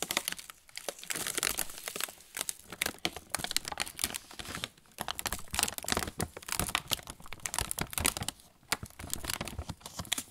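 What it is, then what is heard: Plastic snack bag crinkling. Fingertips squeeze and rub a medium Roland Bretzeli bag of glossy plastic film, sealed and full of pretzel sticks on an inner tray, making it crinkle. The sound is a dense stream of sharp, bright crackles in quick overlapping bursts, with short lulls near the middle and toward the end.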